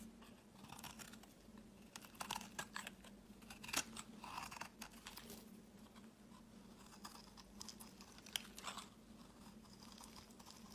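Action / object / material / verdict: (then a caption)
scrape / bar of soap cut with a knife blade / soap / none. A utility knife blade repeatedly shaves the edge of a solid oval purple soap bar held in the hand, curling off flakes. Soft, bright scraping and crunching strokes come in quick, uneven bursts over a faint steady low hum. The loudest cuts land around two to five seconds and again near eight seconds.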